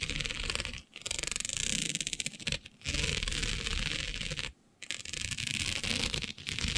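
Long nails scratch and tap across the grid of a flat, black, iridescent plastic diamond mesh sheet. The result is a dense, bright, crackly scraping made of rapid tiny ticks, broken by brief silent pauses, the longest just after the midpoint.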